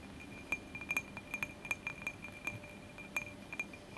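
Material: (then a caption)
Glass. A glass candle holder is tapped repeatedly, giving a quick, irregular series of bright, clear glass clinks. Each clink has a short high ring near 2.4 kHz, over a quiet background.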